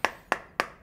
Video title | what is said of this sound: iPhone 11 Pro Max Rp1.5 juta vs Rp23 juta... | Jadi mau diketok dibagian manapun dia bakal Suaranya kayak gitu Oke jadi dia lebih empuk